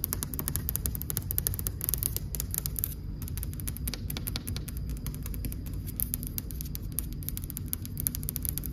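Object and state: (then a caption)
Marble wall. Long, dark-painted almond-shaped nails tap rapidly against a flat, solid white marble wall with grey-beige veining, making a steady stream of short, bright clicks. The clicks sit over a constant low rumbling hum.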